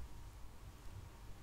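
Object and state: Nothing is struck.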